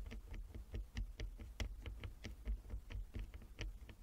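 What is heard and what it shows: A flat wooden chess board with inlaid squares is tapped with the long nails of both hands, giving about sixteen quick, irregular taps over four seconds. Each tap is a short, dry click with a bright tick on top and a soft low thud underneath, dying away almost instantly with no ring.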